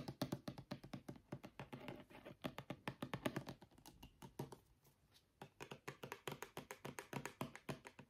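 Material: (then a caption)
Plastic. Fingernails tap and scratch a small brown translucent plastic argan body-oil bottle with a gold cap that appears filled with liquid. Quick, dry, close taps come in rapid bursts, with short low-mid knocks and almost no ring. A brief softer scratching lull comes midway before the fast tapping resumes.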